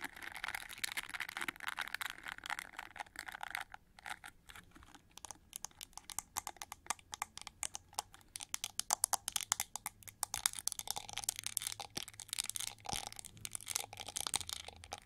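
Long nails scratch the pink plastic bristles of a gold-plated plastic winged hair brush, then move onto its gold ridged back. The result is a dense run of quick, dry, crackly scratches and clicks, bright and high-pitched with almost no low end.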